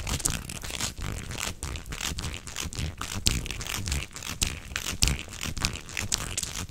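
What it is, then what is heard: Plastic corrugated tube. A beige, hollow corrugated plastic tube is bent into an arc and twisted with both hands while fingertips rub along its ribbed surface. The result is a dense, irregular stream of bright crinkling and ridged rasping clicks over soft low thumps, with occasional sharper snaps that fade quickly.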